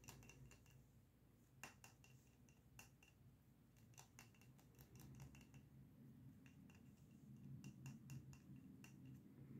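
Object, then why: Frosted glass candle jar filled with wax. A small lit candle in a frosted glass jar filled with solid wax is held in both hands and tapped rapidly with short fingernails and fingertips on its glass sides. Quick, bright clicks with a short ring near 2.7 kHz come in uneven bursts over a steady low rumble.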